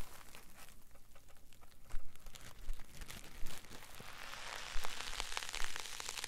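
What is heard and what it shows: A solid green polyethylene foam block is held in both hands and squeezed and rubbed with the fingers and palms. It gives soft crinkling, crunching creaks over a low rumble, with a few louder squeezes standing out. The texture grows brighter and busier toward the end.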